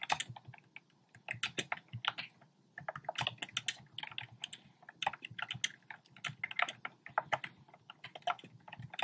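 Fingertips with short painted nails type rapidly on a compact black plastic typewriter-style keyboard with round plastic keycaps. The result is a dense stream of sharp, bright plastic clicks that die away almost instantly, arriving in bursts separated by brief pauses.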